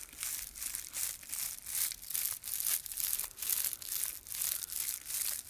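Fingertips rub and squeeze the solid, bundled body of a handheld Easter palm decoration made of dried straw and grass with dried flowers. A quiet, bright, dry crinkling rises and falls in repeated swells of rustling with almost no low end.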